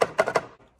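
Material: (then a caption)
Plastic. Four light taps on the plastic front coating of a Nespresso Creatista Pro (Sage) coffee machine give short, dull clicks with a hollow midrange knock and almost no ring. The coating sounds plasticky and scratches easily when cleaned, so it falls short of being hard-wearing.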